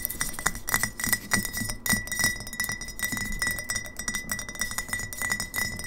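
Long fingernails on both hands tap rapidly on an upright, partly filled glass kombucha bottle. The result is a fast, uneven stream of bright clinks, each with a short glassy ring around 2 kHz, over a soft low thud from the taps.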